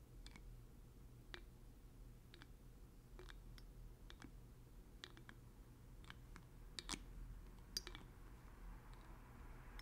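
Fingertips unscrew and screw the black plastic dropper cap on a small, partly filled blue glass oil bottle. Quiet, sharp, bright clicks and ticks are scattered through the clip, with a few louder snaps near the end, over a steady low hum.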